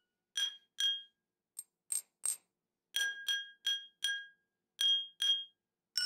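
A metal teaspoon held in the fingers taps the rim and side of a small, round, hollow, clear glass tumbler partly filled with water, resting on a wooden table. Twelve bright, ringing clinks sound in an irregular rhythm, each with a clear high tone that fades quickly, over near-silence with no low end.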